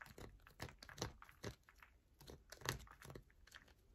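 Long nails scratch across a solid yellow bar of soap, and at the end one hand rests on the mat. Quiet, irregular crunchy scratches and short crinkly taps come in uneven bursts, each with a bright edge and a low thud, dying away almost at once.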